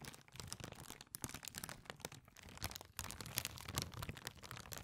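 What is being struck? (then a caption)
Thin plastic bag. A small, clear, thin, empty plastic bag is held in both hands near the microphone and crinkled and squeezed with the fingertips. The result is a dense, continuous run of bright crackles and crunches over a soft low rumble, with brief dips in loudness around the one- and three-second marks.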